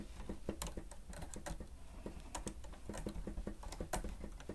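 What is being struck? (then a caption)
Plastic stenotype keyboard. Fingertips of both hands press and tap the keys of a grey plastic stenotype keyboard with a hollow housing while typing. A quick, uneven patter of soft, hollow clicks and thuds is heard, mostly low in tone with occasional brief bright ticks, each dying away almost at once.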